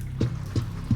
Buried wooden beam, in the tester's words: That's one of the beams. This beam is hollow wood.